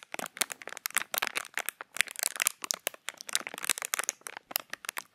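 Fingertips crinkle and press a small, empty, hollow piece of clear plastic packaging held in front of the microphone. Rapid, dense bursts of sharp, bright crackling fire off in quick succession with almost no low end. Each crackle is dry and stops instantly.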